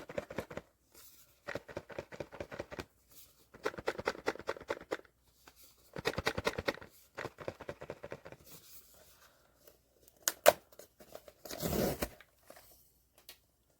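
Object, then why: Cardboard blind box with vinyl figure inside. A sealed cardboard POP MART Skullpanda "The Sound" blind box with a vinyl figure inside is shaken in repeated bursts, giving quick clattering rattles of the contents knocking against the box, ending with a sharp click and a brief rustling burst. The box holds the Serenity figure.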